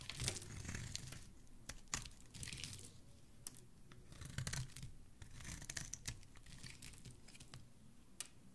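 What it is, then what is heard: Bar of soap being shaved. A metal blade with a black handle cuts crisp shavings off the end of a white solid bar of soap held in the hand. Quiet, bright scraping and crackling strokes come in bursts over a soft low background, with sharp clicks as the blade breaks through.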